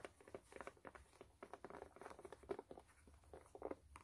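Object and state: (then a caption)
Canvas sneaker, hollow and empty. Long nails scratch and tap the canvas side and toe cap of a hollow, empty white low-top canvas sneaker with metal eyelets and laces. The result is a quiet, rapid patter of soft, dry taps and scratchy brushes, centered in the mid range around 400 Hz. Each tap dies away almost instantly.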